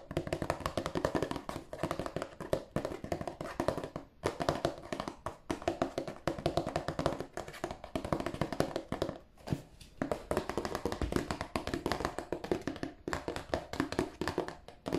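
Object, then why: Cardboard tissue box. A cardboard tissue box is tapped by hand in quick, continuous bursts with a few brief pauses. The taps are short, dry and hollow, sitting in the midrange with little low end and almost no ring after each hit.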